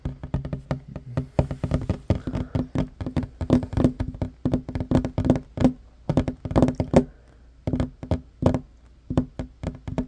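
Short fingernails and fingertips of both hands tap fast on a worn, large, solid wooden tabletop. The result is a rapid stream of dry, hollow knocks with a low woody tone and very quick decay. Brief pauses break up the bursts near the end.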